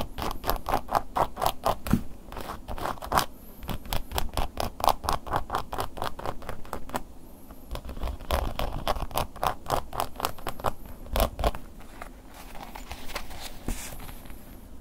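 A wooden ear pick scratches the top edge and face of a black woven-embossed leather long wallet held up in the air. Quick, dry, irregular scratching strokes come about two per second. Each is a short rasp with a mid-range tone over a soft low rumble, fading almost instantly.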